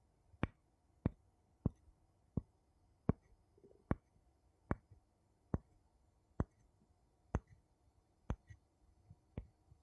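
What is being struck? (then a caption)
Two wooden spoons. Two wooden spoons are tapped together about a dozen times at a slow, steady pace. Each tap is a short, dry, quiet click that dies away almost instantly, with near-silence between taps.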